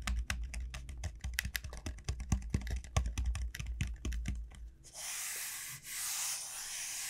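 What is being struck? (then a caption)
Dried bottle gourd shell. Long nails tap rapidly along the textured shell of a large, hollow dried bottle gourd lying on a mat, making quick clicky taps with a low hollow thump beneath them. After about five seconds, the tapping gives way to a steady, bright scratching hiss as the nails rub along the shell, briefly pausing before continuing.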